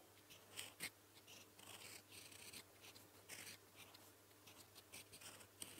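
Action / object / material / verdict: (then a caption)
scrape / metal fountain pen nib on lined paper / paper / none. A gold metal fountain pen nib held in the fingertips writes blue-ink strokes on a flat sheet of lined paper. It makes soft, bright, high scratching sounds in short bursts, a few sharper ticks among them, over a steady low hum.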